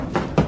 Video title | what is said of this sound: 250 Scary Videos (Vol. 2) | that's not concrete that's Hollow